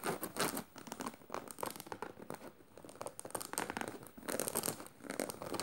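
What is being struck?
Canvas tote bag with metal studs.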